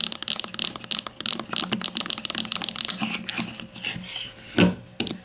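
Long nails tap quickly and then scratch across the label area of the casing of a grey plastic deodorant stick standing upright. A dense run of crisp, bright clicks gives way to softer, hissy scratching, with one louder rasping scrape near the end.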